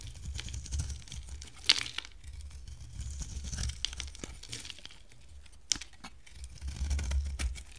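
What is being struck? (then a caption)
Bar of soap. A hand-sized bar of solid, dry pink soap with a teal outer layer is held in one hand and shaved and carved with a box-cutter blade, throwing off curls. Soft crinkling, tearing scrapes and bright, crisp ticks play over a low rumble, with a couple of sharper snaps standing out.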